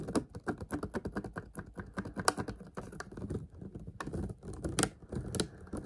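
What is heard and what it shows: A clear plastic water bottle, held upright close up, is tapped quickly with fingertips and nails. Rapid, light, dry clicks and taps patter unevenly, each dying away almost instantly, with a hollow low body and occasional brighter nail ticks.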